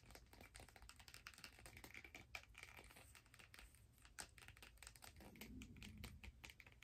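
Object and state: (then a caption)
Plastic skate blade guard. Long nails tap and scratch along a long turquoise hard plastic skate blade guard held in both hands, with a second guard lying still on the table. Quick, dry clicks and ridged scraping run in a dense, steady stream with no ringing.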